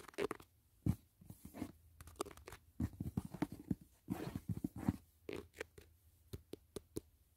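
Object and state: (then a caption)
Cardboard gift box. Fingertips tap rapidly on the lid of a closed, hollow white rigid cardboard gift box, near its corner. The result is a quick, uneven run of soft, dull, hollow knocks with a slightly crunchy edge, heavy in the low end, and each tap dies away almost at once.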